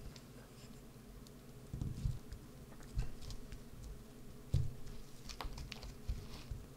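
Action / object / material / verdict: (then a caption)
scrape / bar of soap / soap / none. A wood-handled carving tool gouges and scratches a solid green bar of soap resting on a mat. Soft, low scraping runs throughout, broken by short, bright scratchy ticks and a few louder, irregular carving bursts.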